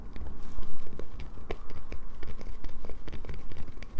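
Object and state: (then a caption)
Bar soap being scraped. Long nails scrape a solid light-blue bar of soap, sending soap shavings falling onto a paper towel. Repeated short, dry scratches and crisp clicks overlap in a steady run over a low rumble, each stroke dying away almost at once.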